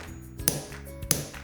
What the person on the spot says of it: 이가 깨질 힘에도 오버레이가 깨지지 않고 있습니다